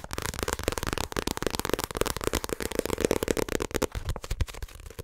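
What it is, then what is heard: Paperback book. Fingertips and nails tap and rub the paper cover and edges of a small paperback My Hero Academia manga volume held in front of the mic. The result is a fast, dense stream of dry, crackly clicks and scratches with a faint mid-range papery tone, each hit dying away almost instantly.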